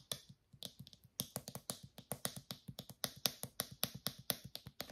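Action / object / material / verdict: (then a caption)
tap / small plastic shampoo bottle with flip cap / plastic / none. A small, travel-size white plastic shampoo bottle with a blue flip cap is tapped with fingernails on its body and cap. There are 21 quick, dry, bright clicks with a soft low thump underneath. Each tap dies away almost instantly, leaving a steady, uneven tapping rhythm.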